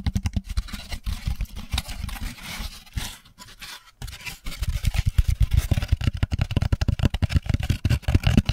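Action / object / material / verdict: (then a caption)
scrape / molded paper pulp drink carrier tray / paper pulp / none. An empty, hollow molded paper pulp drink carrier tray, held close to the microphone with its cupped side facing out, is scratched and tapped with the fingertips. Dense, rapid, dry scratches and soft, low, thuddy taps are heard, with a brief quieter stretch in the middle. The taps then return faster and louder toward the end.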